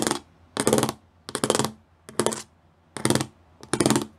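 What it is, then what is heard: Studded plastic panel. Fingertips and nails tap and scratch close up on a flat grey plastic sheet covered in rows of small raised square pyramid studs. Six short bursts of dense, bright clicking and rasping stand out, each dying away quickly into near silence.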